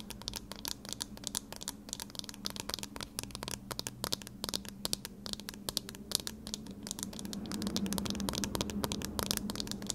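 Thin wire-frame metal eyeglasses are held in both hands while fingernails tap and scratch the frame and lenses. Rapid, irregular, bright clicks and dry scratching sit over a steady low hum, and the activity grows slightly louder and denser toward the end.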